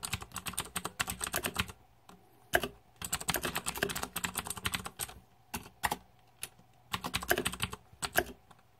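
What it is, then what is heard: Plastic mechanical keyboard. Fingertips type on a green-backlit Razer 2014 Deathadder mechanical keyboard with plastic keycaps. Rapid bursts of sharp, bright plastic clicks and clacks come in runs separated by brief pauses, with a few isolated louder keystrokes between the runs.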